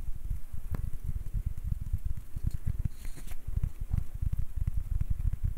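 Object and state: Wooden ribbed ball.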